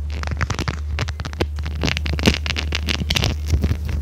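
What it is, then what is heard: Silicone scrubber pad, scratched. A small, flexible red silicone scrubber pad with a bristle texture is held in the hands, bent, and scratched and rubbed with long red nails. Rapid, bright scratchy and crackling strokes ride over a steady low hum throughout.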